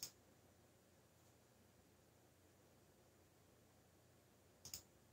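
A backlit mechanical computer keyboard with black plastic keycaps is pressed by fingertips in typing taps, giving three short, bright clicks. One click comes at the start and two close together near the end, over a quiet, steady background hiss.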